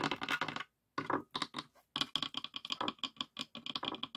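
Fingertips and nails of both hands tap quickly on the front inner wall and dividers of an open, empty, light pine wooden box with compartments. The box sounds hollow, giving a rapid run of short, dry, bright clicks in quick bursts separated by brief pauses.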